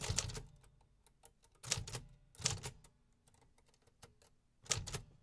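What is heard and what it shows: Fingertips press the keys of a vintage 1950s hollow metal-cased typewriter with paper loaded, producing bright, sharp mechanical clacks with a low thump beneath. The clacks come in irregular quick bursts separated by softer ticks and brief pauses, each strike dying away almost instantly.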